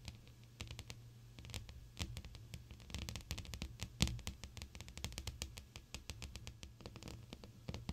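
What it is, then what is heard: Glass pane. Long almond-shaped, blue-painted acrylic nails tap rapidly on a large, flat, clear glass sheet while the fingertips stay pressed against it. The result is a dense, irregular patter of short, bright clicks with almost no ring, over a steady low hum.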